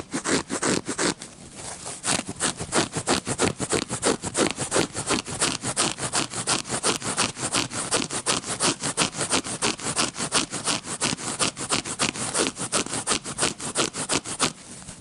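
Fingertips and nails scratch across the dotted face of a red-backed paper playing card deck held up close. The result is a steady run of dry, bright scraping strokes, about three per second, each one short and crisp with almost no ring and little low end.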